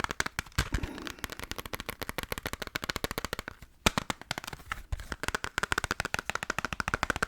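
Rapid, steady tapping on the plastic PS1 game case of Resident Evil Director's Cut, compared against a PS2 case in a tapping contest judged only by preference. The sharp, dry clicks come in quick bursts with very little ring, briefly pausing near the middle and ending bright and crisp.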